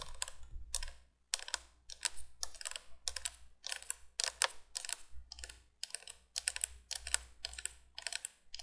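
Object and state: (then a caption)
Plastic window candle light. Long painted nails tap and scratch along the hollow plastic candle tubes of a vintage 1980s cream-colored three-candle window light with orange plastic bulbs, held upright. Quick bursts of dry, bright clicking and scraping come in close clusters with brief pauses between them. Each sound stops at once with no ringing, over a faint low hum.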